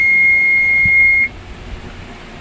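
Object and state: Nothing is struck.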